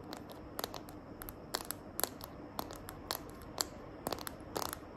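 Long nails tap and scratch the back of a small hand-held smartphone in a green glitter plastic case. Sharp, bright clicks land in an uneven series over a soft, continuous scratchy hiss. Each tap dies away almost instantly, and the whole clip stays quiet.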